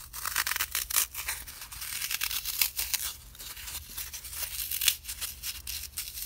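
A small solid green block of dry floral foam is held close and crushed, pinched and torn by fingertips with blue-painted nails. Dense, bright crumbling and crackling textures come in quick squeaky bursts that barely ring. A faint low hum runs underneath.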